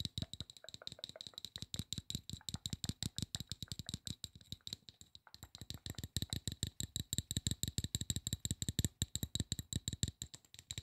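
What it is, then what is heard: Aluminum spray bottle. Fingernails tap rapidly on the base and side of a hollow, silver aluminum spray bottle, with a brief pause about halfway through. Each short, dry tap pairs a low hollow thump with a bright metallic tick.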